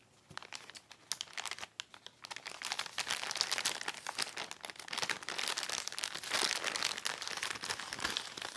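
A white Amazon plastic poly mailer, soft and filled, lies flat on a lace tablecloth and is rubbed and pressed with fingertips. Dense, bright, irregular crinkling starts with sparse quiet rustles, then thickens into a steady, louder stream of crackles about halfway through the clip.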